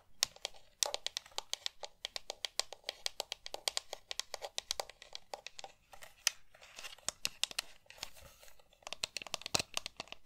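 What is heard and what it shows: Long nails rapidly tap and scratch the hollow shell and buttons of a pink plastic GameCube controller. The result is a dense stream of sharp, dry, bright clicks with scratchy textures in between, almost no low end, and each tap cutting off instantly.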